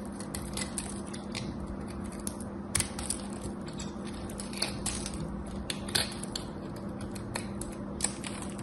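A craft knife chips and scrapes a solid cream soap bar with a scored pattern. Many sharp, bright crunching clicks and scratchy scrapes stand out over a steady low hum, with a few louder cracking snaps.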